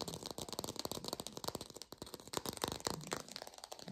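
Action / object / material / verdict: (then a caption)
tap / textured artificial plastic orange / plastic / fake. A textured artificial plastic orange is fast-tapped, recorded lo-fi. A rapid, steady run of short, dry clicking taps with a rattly, bright texture and almost no ring, continuing throughout.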